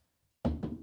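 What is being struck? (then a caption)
Plastic table surface. Two quick knocks on a plastic table or surface, not wood, make short, dull, low thunks with almost no high end that fade within about a tenth of a second.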